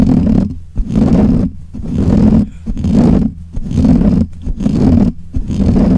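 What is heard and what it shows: Fingernails of both hands scratch the black, hollow metal mesh grille of a desk microphone. Each scrape comes through the mic as a loud, boomy, roaring rumble centered low, repeating in a steady series of bursts about once a second with short quieter gaps between them.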